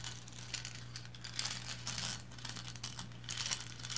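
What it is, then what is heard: Resin lighthouse figurine. Long blue nails scratch up and down the textured bands of a small painted resin lighthouse figurine standing upright. The sound is a dry, bright, crinkly scraping that swells and fades in repeated strokes over a steady low hum.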